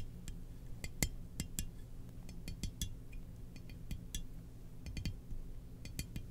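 Long nails scratch and tap a glossy black, hollow ceramic Darth Vader helmet-shaped mug with its lid on. It makes quick, bright, dry clicks and clinks that die away almost instantly, scattered unevenly over the clip. A steady low hum runs underneath throughout.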